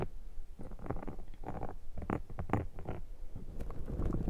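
A thin metal dental pick scrapes a black foam microphone windscreen, then fingers scratch the foam. The result is a close, muffled run of irregular scratchy, rustling bursts, heavy in low rumble with little bright content.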